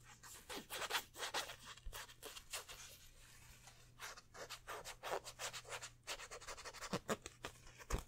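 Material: Polyester.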